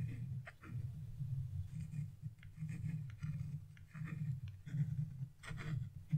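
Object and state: Scratch-art paper being scraped.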